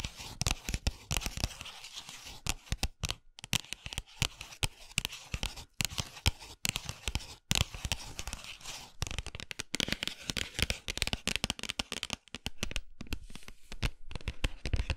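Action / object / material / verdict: scrape / cardboard chocolate box / cardboard / none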